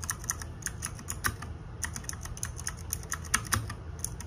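Fingertips and nails type on a small RGB-backlit 60% mechanical keyboard with plastic keycaps. The result is a steady run of quick, bright plastic clacks, some louder than others, over a soft low hum.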